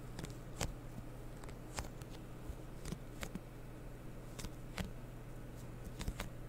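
Long painted fingernails tap and scratch the body and white label of a medium blue plastic cleaning-solution bottle with a blue cap, held in the hands. About 13 short, sharp clicks stand out at irregular intervals, with soft scratching between them over a steady low hum around 117 Hz.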